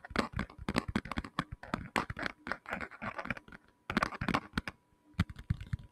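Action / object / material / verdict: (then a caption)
tap / tablet in a hard plastic case / plastic / none. A black tablet in a hard plastic case, flat and hollow-backed, is held near the mic and tapped rapidly with fingertips and short nails. The result is a quick, uneven patter of dull, hollow taps with sharp clicky edges, broken by two brief pauses near the end.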